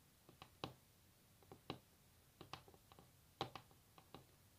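Long natural nails tap on a solid varnished wooden tabletop in an irregular series of short, dry clicks and taps. Each hit dies away almost at once, with a bright, clicky edge over a soft woody tone near 785 Hz, and some taps land harder than others.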